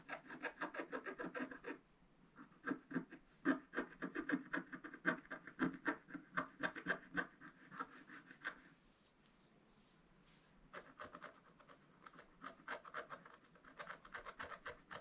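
A wooden stylus scratches short strokes into the thin black wax-coated page of a spiral-bound scratch-art book lying flat, cutting through to the rainbow foil layer beneath while working on a yellow flower. Quick, dry, raspy scratches come in rapid irregular bursts with a bright papery edge, separated by brief pauses near the two-second mark and around nine to ten seconds.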